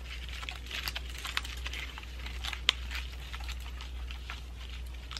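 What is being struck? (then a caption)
Pine cone and dried flower ornament ball. A pine cone ornament ball covered with moss and dried flowers is held in both hands while long nails scratch and tap across it. Irregular crinkly, crunchy crackles rise bright over a steady low hum, with one sharper snap near the middle.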